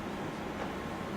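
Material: Nothing is struck.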